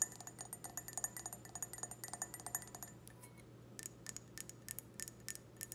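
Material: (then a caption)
Glass. An empty clear stemmed wine glass, held sideways, is tapped on the bowl and stem with long red nails. Quick, bright clinks come in rapid runs, then slow to sparser taps after a short lull, over a steady low hum.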